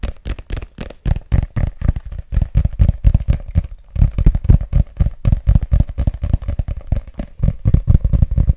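Fingertips and nails rapidly tap and scratch the glossy cover and page edges of a solid red paperback book held in both hands. The result is a quick, uneven run of short, dull, low thumps with faint scratchy texture between them, each dying away almost at once.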